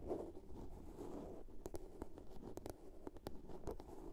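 Long nails scratch and tap a small, hollow blue plastic soap case. Soft, low, rustling scratches fill the first second and a half, then quick, dry, bright taps follow over the continued scratching. The taps die away almost at once over a hollow body tone around 360 Hz.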